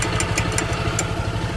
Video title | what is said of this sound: MAY KUMAKALANSING SA CVT KO - HINDI AKO MAPAKALI KUNG SAAN GALING TO | nakita ko na dito lang pala kumakalansing